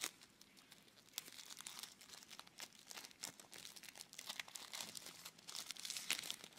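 A small clear plastic tub with a label, full of red floam (foam-bead slime), is held close and squeezed and rubbed by fingertips. The plastic gives off quiet, bright, continuous crinkling and crackling with frequent sharp little snaps and almost no low end.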